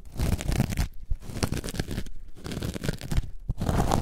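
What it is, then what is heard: Foam sponge being scratched. A coarse orange foam block lying on its side is scratched across its top with long nails. The result is a dense, rough, low-heavy crunching and scraping with little brightness, broken by brief pauses around one, two, and three and a half seconds.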